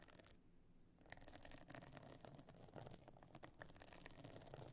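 Long nails on both hands scratch across the stone-chip encrusted top of a closed, pebble-encrusted metal-frame clutch bag lying flat. After a brief quieter stretch near the start, a dense, continuous gritty scratching and fine rattling follows. The sound is soft overall, with bright clicking grains over a low rumble.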